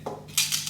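A metal aerosol can of 2K clear lacquer, used in repainting a Royal Enfield Interceptor 650, is shaken before its hardener cartridge is fitted. The mixing ball inside gives about four quick, bright metallic rattles with short ringing tails. This is the normal sound of a full aerosol can being shaken.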